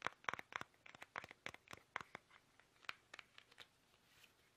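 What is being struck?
Soft plastic toothpaste tube.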